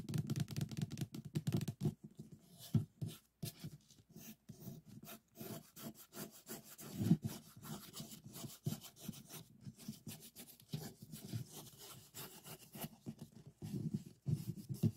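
A stack of nested white disposable paper cups, hollow and empty, stands upside down on a wooden table while both hands' fingertips rub and scratch along the sides of the top cup. The result is a quiet, continuous run of dry scratching and rubbing strokes with a hollow, low-pitched papery body and short bursts that die away quickly.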